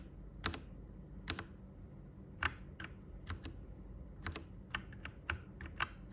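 Fingertips type on a white plastic Royal Kludge RK98 mechanical keyboard with its backlight turned off. About fourteen sharp, short, bright clacks sound, spaced unevenly over a faint low steady hum.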